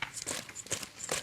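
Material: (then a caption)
Fried chicken. Freshly fried chicken wings are tossed and shaken, giving a dry, bright crunching and crinkling rattle in several quick bursts. The crisp sound shows how crispy the wings are.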